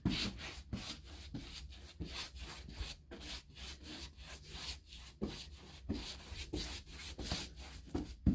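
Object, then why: Painted hardboard door brushed with a bristle brush. A bristle paintbrush is swept in rubbing strokes across a white, painted six-panel interior door of molded hardboard, likely hollow-core molded composite, with an empty knob hole. About twelve scratchy, brushing strokes are heard, each a soft, airy rasp with bright hiss and a low, dull body, separated by brief pauses.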